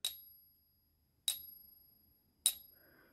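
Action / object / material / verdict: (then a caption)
tap / silver half dollar coin / silver / real. A 1957 Franklin half dollar of 90% silver, resting on a ping tester, is tapped three times with a wooden stick. Each tap gives a bright, high-pitched ping that rings on for about a second, the sound of a genuine silver coin.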